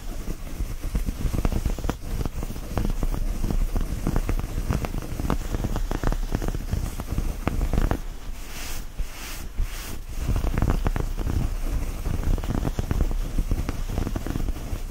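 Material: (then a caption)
Cotton. Both hands scratch and grab a soft purple knit cotton t-shirt bunched up on a blanket, working the fabric fast and hard with the fingertips. Dense, rapid scratching and rustling, mostly low and muffled, runs throughout. It eases into a softer, hissier stretch around the middle before picking back up.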